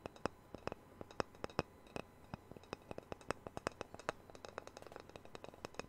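A small, thin, solid round wooden disc, the sound-hole cutout from a Taylor guitar used as a coaster, is held up by hand and scratched and tapped with fingernails. It gives a quick, irregular series of sharp, dry clicks and taps with a woody mid tone around 470 Hz and bright edges. Each tap dies almost instantly over a faint low hum.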